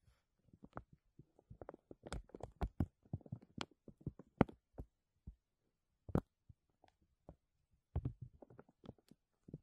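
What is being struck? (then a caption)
Thin clear plastic bag. A thin, clear plastic bag stretched over a mesh dome is lightly scratched and rubbed by fingertips and nails, with the hand held still. The result is a quiet, irregular run of soft, dry crinkles and short scratchy ticks, mostly low and muffled with occasional brighter crackles, separated by brief silences.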